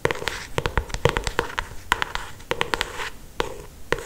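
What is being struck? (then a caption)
Paperback book with glossy paper cover. Long acrylic nails tap and trace or scratch along the glossy paper cover of a solid paperback novel. Around twenty sharp, clicky taps land in an uneven rhythm, each dying away almost instantly, with a hollow mid-pitched knock and brief bright scratchy rustles between them.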